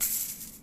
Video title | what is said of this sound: Transition video | i can also flick it with my finger like this but again it's not actually that exciting to listen to